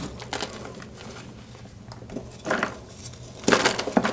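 Pink rubber-gloved hands squeeze and crush several solid pink-white blocks of gym chalk (magnesium carbonate) in a pink plastic bowl, pressing with fingertips and palms. Dry, gritty crunching and crinkling bursts break through quieter rustling, growing louder and denser toward the end. The blocks crumble into chunks and powder.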